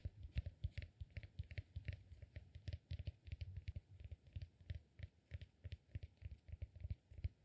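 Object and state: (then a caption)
Cork peanut massage ball. Fingernails scratch and tap the upper lobe of a solid, peanut-shaped cork massage ball held in one hand. About 39 quick, quiet, dull taps with low thumps near 70 Hz die out almost at once, each with a faint bright scratchy tick, in an uneven typing-like patter.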